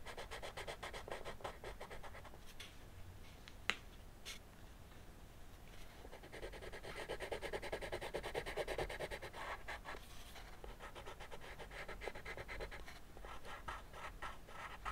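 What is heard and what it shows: A teal wooden colored pencil shades a flat sheet of white drawing paper on a wooden desk, filling in the body of a dragon with short strokes. The result is a steady, quiet, dry scratching at about three strokes per second. A brief pause and a sharp tick come near the four-second mark.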